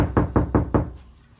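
Five knocks on the same spot of an untreated steel car driver door with no sound deadening. Each knock gives a low, boomy thud centered around 125 Hz with a brief ring, and after the last one the sound fades to quiet. The door sounds hollow.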